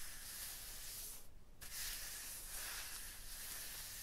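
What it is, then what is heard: Rough stone block wall. A hand and fingers rub and slide over a striated, rough, textured stone block wall, making a steady, bright, gritty scraping hiss with a low rumble underneath. The rubbing drops out briefly around 1.3 to 1.6 seconds, then resumes at the same even texture to the end.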